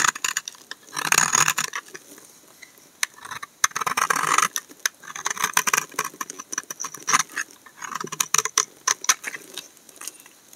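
A utility knife blade scrapes a solid tan brown laundry soap bar, with the shavings piling up. The clip is a run of short, dry, bright scraping and crackling strokes, clustered in denser bursts around one and four seconds, with almost no low end and no ring after each stroke.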